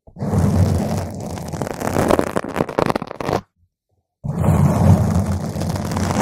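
Fingernail tips scratch a round purple foam microphone windscreen, then all the nails of both hands scratch it. The result is a dense, muffled, rumbling scrape that is heavy in the low end. A brief silence breaks it before the scratching resumes just as loud.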